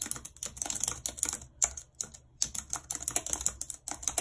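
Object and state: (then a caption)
Plastic computer keyboard. Long red acrylic nails type rapidly on a white, low-profile plastic wireless keyboard with a full number pad and hollow housing, lying flat on a map-printed surface. The result is a quick, uneven stream of bright, sharp, clicky key taps with almost no low end, each dying away almost at once, broken by a couple of brief pauses.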